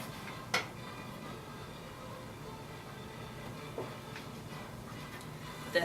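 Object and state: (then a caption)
Thick base of an unfired clay pot. Taps on the bottom of a leather-hard, unfired clay teapot sitting on a potter's wheel during trimming give short, dull thuds over a steady low background hiss. The dull sound means the clay base is still thick; as the base is trimmed thinner, the tap should sound more hollow.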